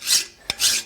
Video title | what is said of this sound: Dirty Smith ep 31 Part 2: Forging and Heat treating a cold chisel | It's taking away more material. Even on the flat, you hear that different tone.